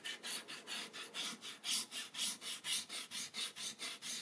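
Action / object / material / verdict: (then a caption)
scrape / rubber eraser on paper sketchbook page / paper / none. A white rubber eraser held in fingertips with red-painted nails rubs back and forth across a page of a spiral-bound paper sketchbook, which has a drawn ink spiral and lies on a table, erasing pencil marks. There are 14 quick, evenly paced strokes, each a bright, dry, papery scratching hiss with almost no low end. The strokes stop cleanly between passes.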